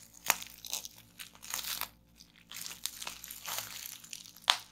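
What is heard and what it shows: Fingertips and nails twist and squeeze a clear plastic strip of air-filled bubble wrap on a wooden table, popping the bubbles. Bright, dry crinkling and crackling bursts fill the clip, with a sharp, loud pop near the start and another near the end. The sound sits mostly in the high range and dies away almost instantly after each pop.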